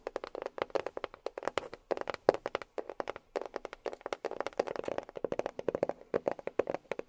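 A box is tapped with long fingernails in a quick, uneven run of light, dry clicks. The short taps have a mid-pitched body around 500 Hz and die away almost instantly.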